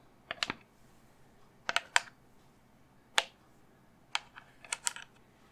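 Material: Resin.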